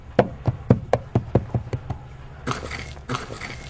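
Knuckles rap a series of short, dull, low knocks on a hollow wooden box buried in the ground during a dig, confirming it is hollow wood. The knocks are followed by two rougher, broadband scraping bursts.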